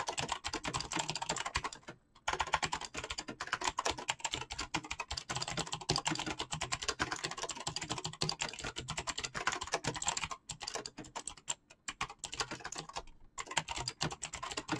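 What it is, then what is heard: Mechanical keyboard with PBT plastic keycaps. Fingertips type rapidly on a full-size backlit mechanical keyboard with PBT plastic keycaps, producing a dense, steady stream of short, bright clacks with little low end. The typing runs almost continuously for the whole clip, broken only by brief pauses near 2 seconds and again around 10 to 13 seconds.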